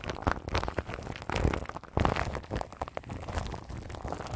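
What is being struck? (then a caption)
Microphone wrapped in plastic film. Long nails scratch and rub across crinkly plastic film wrapped around the grille of a large microphone. The result is a close, dense run of rustling, crackling scrapes with soft low thumps, in uneven bursts that swell and fade.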